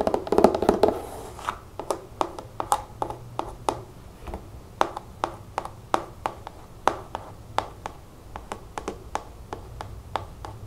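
Long nails tap rapidly on the label and body of a large pink plastic nail polish remover bottle, held in the hand with liquid inside. A dense, scratchy flurry of taps opens the clip, then settles into short, dry, irregularly spaced clicks with a hollow, mid-pitched knock and almost no ring.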